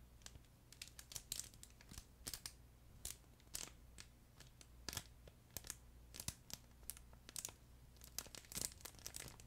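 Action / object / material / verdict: shake / fabric plush pet toy with internal crinkle film / crinkle film / none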